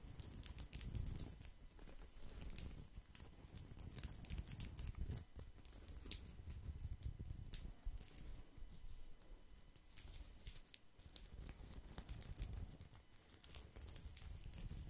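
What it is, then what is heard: Woven straw placemat. A round woven straw/rattan placemat is held in both hands and scratched and rubbed with fingertips and nails. The result is a quiet, continuous crinkly scratching and patter with a soft low rumble and bright, crisp ticks throughout.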